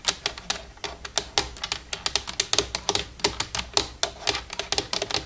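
Long red-painted nails tap quickly across the keys and the grey plastic front panel with buttons of a black plastic desktop computer keyboard with a hollow casing. Around thirty short, bright, clicky taps come in an uneven, rapid stream, each dying away almost at once.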